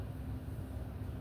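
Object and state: Nothing is struck.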